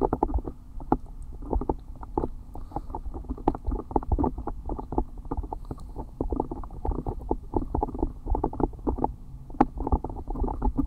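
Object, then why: Silicone ear pieces of a binaural microphone. Fingertips and long nails rub and tap the soft silicone ear pieces on both sides of a black binaural microphone. Close, muffled rustling and rapid soft taps form a continuous low rumble with nothing above about 2 kHz. Brief brighter clicks stand out now and then.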